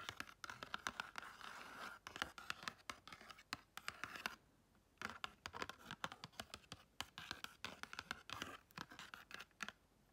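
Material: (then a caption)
Cardboard. Long red chrome nails rapidly tap and scratch the faces of a small pink and gold patterned, paper-covered cardboard gift box. The result is a fast stream of crisp, papery clicks and bright scratching with a rasp centered around 1.4 kHz. There is a brief pause near the middle before the scratching and tapping resume.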